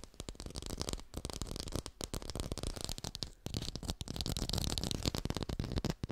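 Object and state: Fake textured orange.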